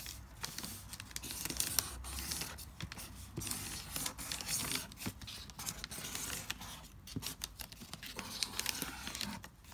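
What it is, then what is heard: Crumpled lined notebook paper. A pink marker writes across a wrinkled sheet of lined notebook paper on a marble-pattern board while a hand with long nails holds the sheet down. The result is a steady, bright, scratchy rustle with crinkling paper and many quick ticks and scrapes, set over a faint low rumble.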